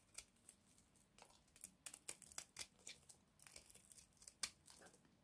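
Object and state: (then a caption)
Dry bar soap. A purple-and-white striped oval bar of dry soap, hand-sized and held in the palm, is scraped with a small box-cutter blade as shavings fall off. Quiet, bright, dry scraping crunches and crackles come in about sixteen short bursts, each dying away almost at once.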